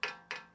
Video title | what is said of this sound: Freego Pro Rumor? | if I flick it you can see it's going to Rattle and so the fact that that metal is so thin